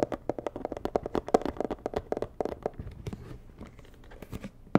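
Long nails tap rapidly on the red side of a medium, hollow, rigid white and red cardboard box, giving short, dry knocks with a hollow midrange tone around 450 Hz. The taps are crisp and quick with almost no ring, then fade into a softer, quieter scratching texture before one last sharp tap at the end.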